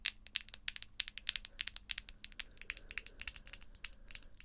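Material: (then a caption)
Acrylic. Long, square, pink acrylic false nails tap and click against each other as the fingertips meet. A rapid, uneven run of quiet, sharp, bright clicks dies away instantly, with a faint low hum underneath.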